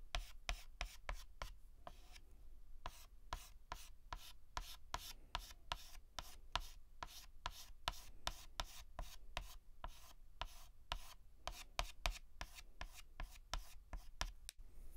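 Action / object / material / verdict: scrape / chalk stick on a chalkboard / chalk / none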